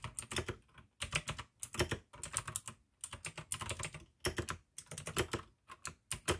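Continuous two-handed fingertip typing on a full-size pink AUKEY mechanical keyboard with plastic keycaps and clicky blue switches. Fast bursts of sharp, bright clicks with a low thock underneath come in clusters separated by short pauses.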